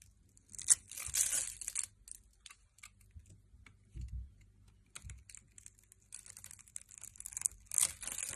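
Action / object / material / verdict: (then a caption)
scrape / translucent glycerin soap bar cut with a metal blade / glycerin soap / none. A metal blade scrapes and cuts a solid red translucent glycerin soap bar, scored and held in hand, releasing clear crystal-like cubes. Bright, crisp crackling and scraping bursts come in uneven clusters, with a few soft low thuds between them.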